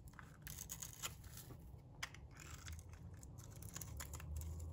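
A metal box-cutter blade scrapes the surface of a solid, dry, pink rectangular bar of soap. It makes a steady run of crisp, bright crackling scrapes, with sharper flicks now and then, over a low background rumble. The scraping grows slightly louder toward the end.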